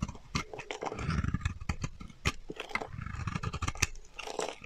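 A solid, dry, pale green bar of soap held in the hand is shaved with a metal utility knife blade, and flaky chips break off. The cuts make a quick run of crisp, crunchy scrapes with a low, dull body and bright, sharp clicks that die away almost at once.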